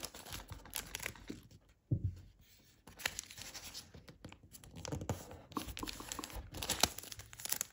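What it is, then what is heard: Origami paper crane being folded. A thin origami paper crane, partly folded and held in the hands, has its flaps creased and rubbed by fingers. Dense, bright crinkling and scratchy rustling come in quick bursts, broken by a short near-silent pause that opens with a soft low thump. The crinkling then resumes and builds to its loudest near the end.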